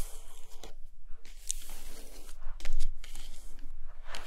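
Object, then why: Paper pages of an open hardcover book. Long nails scratch and tap across an open hardcover book lying on a carpet, held at the same spread of a matte text page and a glossy black-and-white photo paper page. The sound is dry, scratchy rasping with soft papery taps, bright hissy bursts over a faint low rumble. It swells briefly louder midway through.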